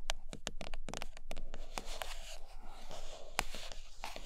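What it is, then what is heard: Cardboard box tapped and scratched with nails. Long nails scratch the sides and tap the glossy top of a closed, hollow, large flat printed cardboard iPad Pro box. Quick, sharp taps with bright clicky edges ring around 750 Hz and cut off almost at once. Between them runs a steady dry scratching rasp over a low rumble.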